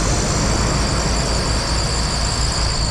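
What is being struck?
Nothing is struck.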